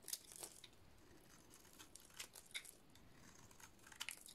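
A utility-knife blade shaves the painted dot-art layer off a solid, dry purple soap bar. The quiet, bright, crackly scraping is punctuated by crisp snapping peaks near the start, in the middle, and near the end.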